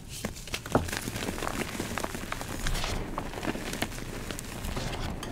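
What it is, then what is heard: Gym chalk blocks being crumbled. Purple-dyed gym chalk (magnesium carbonate) chunks and powder in a bowl are broken apart by fingers, then the powder is rubbed and crumbled with both hands. Sharp dry snaps and crisp crunches sit over a steady, gritty rustle with a bright, powdery hiss.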